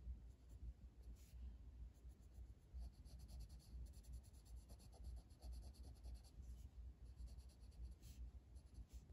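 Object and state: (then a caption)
Colored pencil shading on a paper page. A blue wooden colored pencil held in the fingers shades a flat paper coloring book page resting on a table. Quiet, steady scratchy strokes rub back and forth over a low, constant rumble, with faint bright hiss on some strokes.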